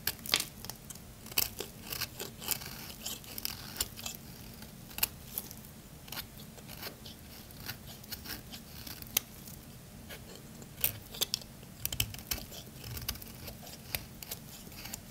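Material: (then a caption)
Soap. A thin, solid purple bar of soap held in the hand is scraped and shaved with a metal blade. Quiet, dry, bright scraping and crisp little cracking ticks come in irregular bursts over a low steady background hum.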